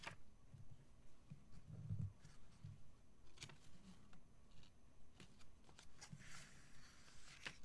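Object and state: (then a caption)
Glossy paper magazine being handled. A thin, open, glossy paper crystal catalog lies flat on a wooden table while a page is turned, then a flat palm and fingertips rub across the glossy page. It makes quiet, low swishing and brushing with a few sharp, bright paper crackles and soft taps scattered throughout.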